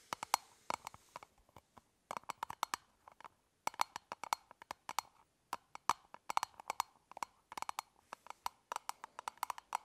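Long nails tap along the top of a closed, elongated, hollow hard-plastic toothbrush travel case held horizontally. The result is quick, dry clicks with a hollow tone around 940 Hz and bright edges, dying away almost instantly. They come in irregular bursts separated by brief pauses.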